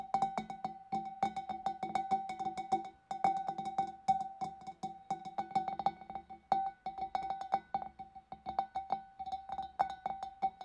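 Long dark nails tap rapidly and irregularly inside the opening and on the rim of a large, clear, empty glass fish bowl. Each tap gives a short, bright glassy click with a steady ringing tone near 780 Hz that fades quickly, and a few brief pauses break up the tapping.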